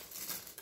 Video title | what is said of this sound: Roasted Brussels Sprouts | you can hear how crispy they are